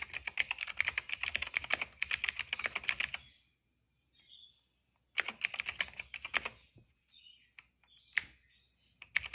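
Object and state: Plastic mechanical keyboard.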